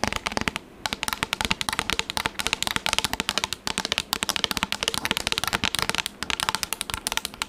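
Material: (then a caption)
Plastic. A pink, textured, flat and rigid plastic tablet case is held up near the mic and tapped fast with long acrylic nails. A rapid, continuous run of sharp, bright clicks with almost no ring, briefly pausing just before the first second, with little low-end weight.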